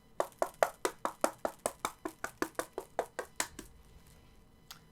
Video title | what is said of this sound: 2mm vs 4mm WWE WHC Big Gold - WWE Shop's false advertising | it doesn't sound as good